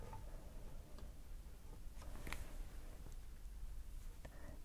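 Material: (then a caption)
Plastic. Long grey polka-dot fingernails tap and tick on the hollow plastic tube of a small open lipstick with a glossy black plastic case and a pink bullet, held in the hand. Quiet, sharp little clicks sit over a steady low hum.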